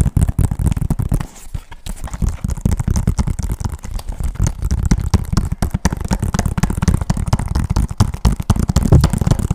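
Fingertips and nails tap rapidly on the front of a hollow, hard plastic PS3 game case for Call of Duty MW3 with a clear sleeve. The result is a dense run of quick, dull, low thumps with very short decay and little brightness. The tapping briefly softens near the start, then continues steadily to the end.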